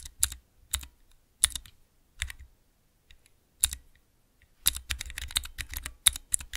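A small clear plastic 3x3 Cherry MX key switch tester sits on a dark surface, and its keys are pressed with the fingertips of both hands. A few separate, sharp, bright clacks with a soft low thump are spaced apart, then a quick flurry of overlapping presses follows. Each click is dry and dies away almost instantly.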